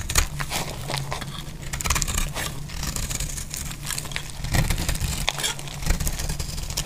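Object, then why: Soap bar. A small metal utility blade scrapes and shaves curls off the surface of a solid, hand-sized bar of dry purple soap held in the hand, with soap flakes lying around it. The strokes come as a steady run of dry, crisp scratching and shaving sounds with bright, papery texture over a low rumble.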